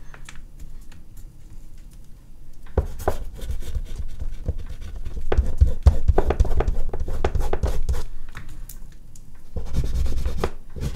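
An oil pastel stick is rubbed in quick strokes near the bottom of a large, flat sheet of artist's paper resting on a board. Soft, dry scratching starts quietly, then grows into a denser run of short, rapid, uneven strokes from about three seconds in. It eases briefly around nine seconds before a final louder burst near the end.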